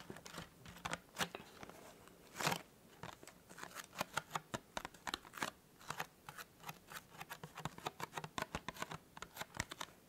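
Fingertips and nails tap quickly along the sides of a small, hollow, white printed cardboard tea gift box. The result is a quiet, irregular run of dozens of short, dry, crisp clicks and scratchy taps with a bright, papery edge, set over a faint low hum.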